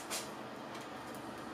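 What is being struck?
Nothing is struck.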